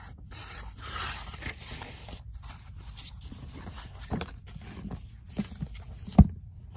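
Fingernails scratch across the pages of a paperback book with a soft, dry rasp, and then the page block is flipped and fanned in quick papery flutters. The sound stays quiet and mostly low, ending with one sharper snap of the pages near the end.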